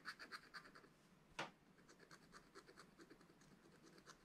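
A wooden stylus scratches the black wax coating of a flat scratch-art paper page in a spiral notebook, working around a leaf and berry area. Quick, uneven rasping strokes carry a bright, hissy texture, with one sharper, louder scrape partway through before the soft, continuous scratching resumes.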